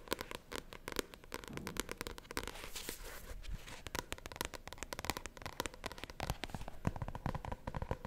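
A small paperback novel with a glossy paper cover is held in both hands while long painted nails tap and scratch across its cover. A rapid, continuous series of sharp, dry clicks and crackly scratching strokes follows, each tap dying away almost instantly with no ring.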